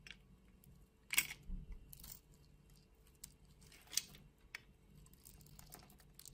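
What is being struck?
Solid bar soap scraped with a metal blade.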